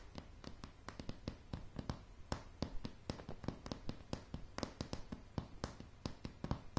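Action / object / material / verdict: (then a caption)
tap / wooden floorboards / wood / none. Long polished fingernails of both hands tap a light, solid wooden plank floor in an irregular rhythm of about 32 quick taps. Each tap is a short, dry click with a bright tip over a low, woody knock that dies away almost instantly.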